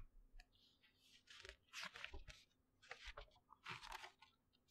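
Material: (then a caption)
Paper. A thin glossy paper brochure is held in both hands close to the mic while fingertips flip and rub its pages. Crisp, bright rustling and crinkling bursts come and go with soft low thumps of handling between them. The page turning is quiet and close.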